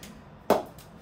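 A cricket ball strikes a Spartan David Warner Edition willow cricket bat during a ping test, giving a single sharp, woody knock with a mid-pitched tone near 600 Hz that fades quickly. The ping of the bat is judged very good.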